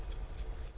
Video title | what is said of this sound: WEB EXTRA: Paralympian Brad Synder | There's 20 beads in a small chamber inside this metal that make that sound when you shake it.